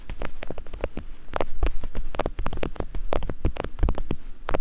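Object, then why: Silicone binaural microphone ears tapped with thin wooden picks. Two thin wooden picks rapidly tap and scrape on soft silicone binaural microphone ears. The result is a dense, irregular stream of short, dry clicks and brushing scratches over a deep, muffled low thumping. Each tap dies away instantly, with no ring.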